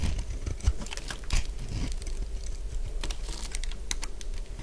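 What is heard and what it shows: A solid purple bar of dry soap is scraped and shaved with a metal blade, and crunchy flakes come off. Quick, dry, crisp scraping clicks repeat in an irregular patter over a low, steady rumble.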